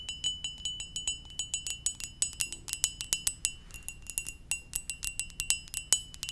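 A ceramic mug shaped like a Poké Ball is tapped gently with quick, steady strikes. Each tap gives a bright, glassy ring with a clear tone near 3 kHz and high overtones. The rings are short and chime-like.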